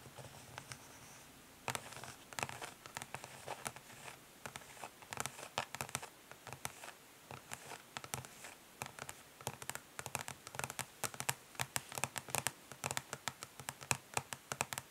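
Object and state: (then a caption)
Plastic makeup palette tapped with nails. Long nails on both hands tap quickly but gently on a flat, rectangular, hollow plastic eyeshadow palette lying face down on a grey surface, with some light scratching. The sound is a quiet stream of dry, bright clicks with no ring, sparse at first and then coming in dense, uneven bursts over a soft hiss.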